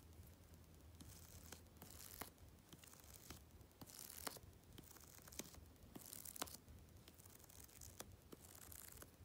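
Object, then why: Glossy paper magazine cover. Long red-painted fingernails tap and scratch along the edge of the glossy paper cover of a thick Vogue magazine lying flat and closed on a dark fabric surface. Soft bursts of bright, papery scratching come and go over a low, steady rumble, punctuated by short, sharp clicking taps.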